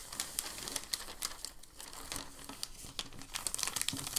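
A hand presses and rubs a large, creased sheet of crumpled packing paper, then lifts its edge. The result is a steady, dense crinkling with sharp, bright crackles that grow more frequent toward the end.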